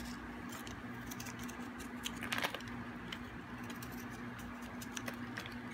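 A metal blade carves a thin remaining piece of hard, dry, solid green bar soap, making a string of short, crisp scraping clicks and scratches with bright edges. A steady low hum runs underneath, and a louder cluster of scrapes comes about midway through.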